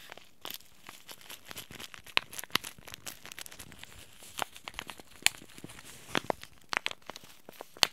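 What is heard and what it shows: Fingertips fold and crinkle a small white Throat Comfort tea sachet made of paper-foil laminate with a tea bag inside. A steady run of dry, papery crinkles is broken by sharp, bright crackling snaps, with almost no low end beneath them.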